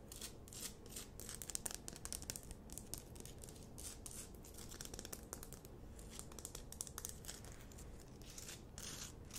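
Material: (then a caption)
Rock salt. Long nails scratch and tap the rough crystalline surface of a large, solid pink rock-salt Himalayan salt lamp. The result is a continuous, quiet stream of dry, bright scratching, crackling and short clicking taps over a steady low rumble.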